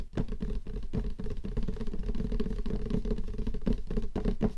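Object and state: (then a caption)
Cardboard gift box tapped with nails. Several long nails tap quickly along the lid surface and edge of a closed, hollow light-blue cardboard gift box. The result is a dense, steady patter of dull, hollow taps with a low, boomy body and almost no bright top. Each tap dies away at once.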